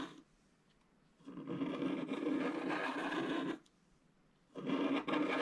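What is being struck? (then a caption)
Coated scratch-art paper card scratched with a wooden stylus. A wooden stylus scratches the black coating of a thin, flat scratch-art paper card lying on a table, first near the bottom and then around the gate area. Two sustained raspy scratching passes are heard: a long one of about two seconds and a shorter one near the end, both separated by quiet.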